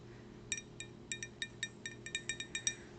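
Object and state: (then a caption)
Glass souvenir cup. A glass souvenir cup from the Ladies and Tangents show, which came with a drink, is tapped 13 times in quick, uneven succession. Each tap gives a bright, high clink with a short ring, over a faint low background hum.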